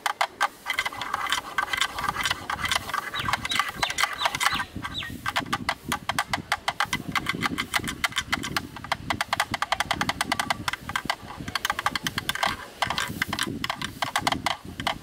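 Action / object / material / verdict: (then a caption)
tap / plastic camera lens hood / plastic / none. A black plastic camera lens hood, held in the hands with its round mount ring showing, is tapped and clicked rapidly with a thin bamboo stick. The result is a fast, steady stream of sharp, dry plastic clicks with a hollow knock centred around 1.2 kHz and a bright, high edge. Each hit dies away almost at once, with a faint low rustle underneath.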